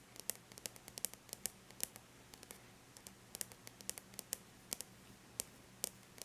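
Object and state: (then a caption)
Aluminum laptop lid tapped with fingernails. Long bare natural nails lightly tap the flat silver-gray surface of an aluminum laptop lid. Irregular strings of quick, sharp, bright clicks stop instantly with no ring, over a quiet, steady low hum.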